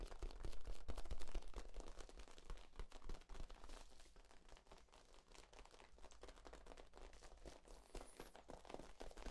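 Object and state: Corrugated plastic tube.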